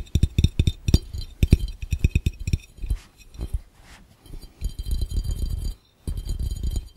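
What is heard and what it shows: Fingertips tap rapidly and continuously on a glass fishbowl. Each tap is a dull, low knock with a faint bright glassy clink on top that dies away almost at once. The quick bursts run on with brief lulls near the middle and just before the end.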